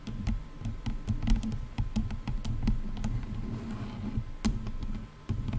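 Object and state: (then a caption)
Plastic headphone headband tapped with nails. Long nails scratch and tap the top of the plastic headband on a pair of over-ear headphones. The result is a steady, muffled low rumble of scratching, broken by quick, bright clicking taps that come irregularly throughout.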